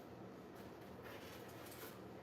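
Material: Nothing is struck.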